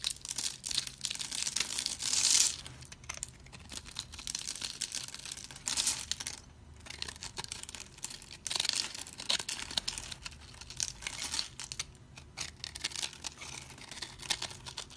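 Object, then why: Bar of cream soap scraped with a blade. A utility blade scrapes crunchy cubes off the pre-cubed surface of a solid, round, cream-colored dry soap bar held in the hand. Continuous bright, dry crunching and crumbling fill the clip, with louder scraping bursts near 2, 6 and 8.5 seconds. There is almost no low end.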